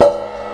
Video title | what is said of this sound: Summer's Here At Last 24.8.15 - 28.8 .15 | still makes a decent sort of noise ass as how it should